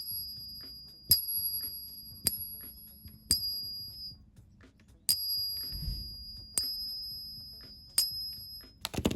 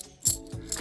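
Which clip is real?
The first.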